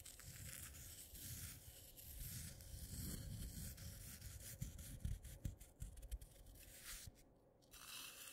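Fingertips and nails press, rub and scratch through loose dry instant coffee granules on a dark clay plate. The result is a steady, gritty rustling and scraping with a low, rumbling body and a bright, hissy top. Sharper crunchy ticks stand out in the second half before a brief quieter moment near the end.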